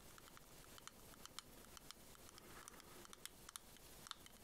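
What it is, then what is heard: Plastic shell-shaped case tapped with nails. A small, hollow, white ribbed shell-shaped pearl case, apparently hard plastic, is held in one hand and tapped and scratched along its ridges with long nails. Quiet, dense scratching runs throughout, broken by a quick series of sharp, bright clicking taps with a hard tone near 3.5 kHz. Each tap dies away almost instantly.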